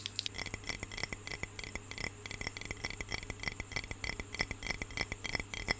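Long fingernails tap rapidly and irregularly on the glass sides of a medium clear glass jar with a lid, filled with water. Each tap is a short, bright click with a glassy ring centered near 2 kHz that fades almost at once, over a faint steady low hum.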